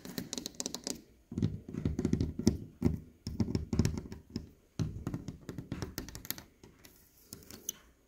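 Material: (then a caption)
Glass. Fingernails and fingertips tap and scratch across a leaded stained glass window panel made of textured clear glass with red and green pieces set in dark lead came, outdoors. Dense bursts of quick, dull, low-pitched clicks and scrapes die away almost instantly, separated by brief pauses with faint high background sounds.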